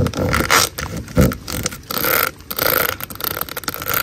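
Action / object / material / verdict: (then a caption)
scrape / corrugated plastic drain hose / plastic / none. Long nails scratch and flick across the ridges of a large black hollow corrugated plastic drain hose, making rough, ratcheting scrapes and flicks in an irregular rhythm. Bright hiss fills the bursts, with one louder, lower thump partway through, and rain may be faintly audible in the background.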